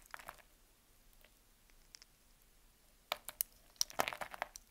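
A small knife slices scored cubes off the surface of a solid, dry green bar of soap held in the hand. Faint early scrapes give way to a quicker run of crisp, bright cutting and crumbling crunches near the end, each short and dry with almost no low end.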